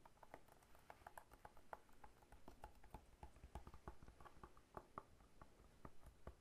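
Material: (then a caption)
Pineapple rind. A whole fresh pineapple with its leafy crown and hard scaly rind is held in one hand and tapped on the rind with the fingertips of the other hand. A quiet, steady run of short, dry knocks follows, each with a hollow mid-pitched tone and a low, dull thump that dies away almost instantly.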